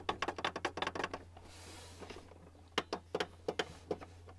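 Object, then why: Plastic printer housing. Fingertips and nails of both hands tap on the flat top edge of a white plastic Canon printer's hollow housing, making short, dry clicks with a hollow plastic knock. A quick run of taps is followed by a brief soft hiss, then several slower, spaced taps, all over a steady low hum.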